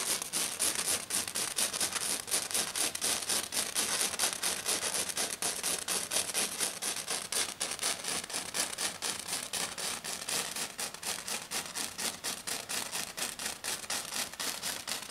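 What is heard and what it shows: A hand with black nails scratches fast and hard across a flat, silver glitter-covered sheet. The result is a steady, rapid run of crisp, bright scraping strokes with a hissy, high-pitched texture and almost no low end, each stroke cutting off quickly.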